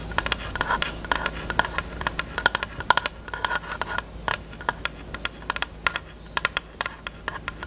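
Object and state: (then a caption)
Plastic case tapped with nails. Long nails tap rapidly and irregularly on a closed, hollow, pink hard plastic rectangular case with a cherry print. Each tap is a short, bright click with a hollow plastic tone around 1 kHz that dies away almost instantly, over a faint steady low hum.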